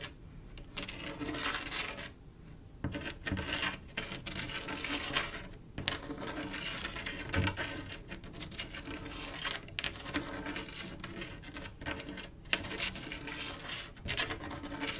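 A single long acrylic nail scratches along a flat panel of silver mirror-glass mosaic tiles set in grout. Bright, dense scraping and ticking sounds clatter continuously as the nail rides over the tiles and grout lines, broken by a few brief pauses.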